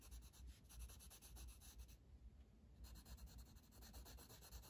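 A blue wooden colored pencil, held in the fingers, shades a flat paper coloring book page on a table with quick back-and-forth strokes. It makes a soft, bright, scratchy rubbing with a low undertone, pausing briefly near the middle before the strokes resume.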